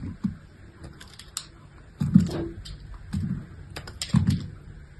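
A wedge of solid pink bar soap held in hand is cut into thin slices with a metal utility-knife blade. Irregular, dull, low scraping crunches come with brief bright crackles as the blade pulls through. Between cuts there are quiet pauses, and each cut stops short with almost no ring.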